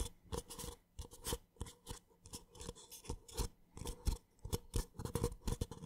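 A small, empty, hollow white paper (cardboard) drinking cup is held in one hand close to the microphone while the fingertips and short nails of the other hand scratch and tap its outside. Quiet, dry scratching and hollow tapping come in short, irregular bursts with a low thump under each tap and a brief, bright scrape on top.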